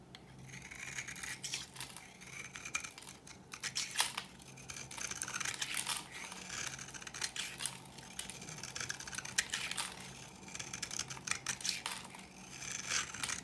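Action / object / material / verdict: scrape / bar soap scraped with a blade / soap / none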